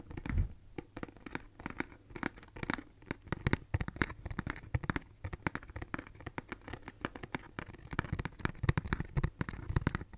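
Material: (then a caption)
Cardboard. A hollow pink cardboard tissue box, held in both hands, is scratched and tapped with long nails. Dense, crisp scratching and quick tapping clicks run throughout with a low hollow body, and a louder rustle comes near the start.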